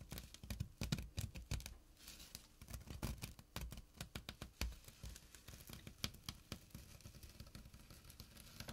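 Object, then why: Burlap drawstring pouch. Short nails scratch the fabric of a small, flat burlap drawstring pouch. Quick, dry, crackly strokes come in uneven bursts with a soft low rustle underneath. Each scrape stops almost instantly, and the whole clip stays quiet.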